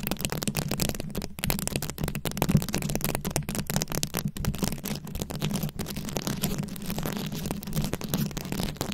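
A microphone ball covered in plastic rhinestone beads is scratched from both sides by long acrylic nail tips. The result is a dense, continuous crackling and rattling of clicking beads over a steady low rumble, with the scratches running together rather than falling as separate hits.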